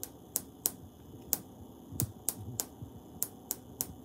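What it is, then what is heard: Wall tiles. Fingers tap and scratch on tiles on a wall, producing ten crisp, sharp clicking taps with a bright high-frequency snap and almost no ring. Between the taps, soft scratching and a low background hum remain.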